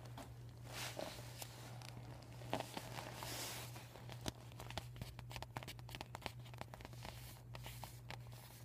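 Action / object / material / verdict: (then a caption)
scrape / vinyl beach ball / vinyl / none. Fingertips with short painted nails scratch and crinkle a flat, empty, deflated PVC vinyl beach ball with white and yellow panels written on in marker, lying on a table. The result is a quiet run of dry, crackly rustles and sharp little clicks over a steady low hum.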